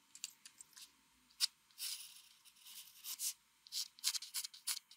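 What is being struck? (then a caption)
Pencil lead on a paper sheet. A mechanical pencil rubs fast, repeated hatching strokes across a flat white drawing sheet to shade it. The result is a quiet run of bright, dry scratching bursts, some short and sharp and some longer, separated by brief silences, with almost no low end.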